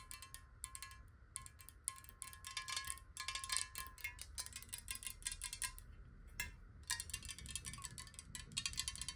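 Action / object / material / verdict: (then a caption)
tap / glass bottle partly filled with water / glass / none. Long nails tap rapidly on a clear square glass bottle partly filled with water, held tilted. The quick taps give bright, glassy clicks with very short ring over a steady tone near 1 kHz, with brief pauses and a low background rumble.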